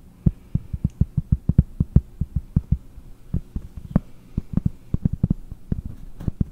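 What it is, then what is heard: Cork board. Fingernails tap the back of a round, solid cork board: one hand reaches over the top to tap while the other holds the board by the microphone. Around thirty short, dull, low thumps with almost no ring come in an uneven rhythm over a faint low hum.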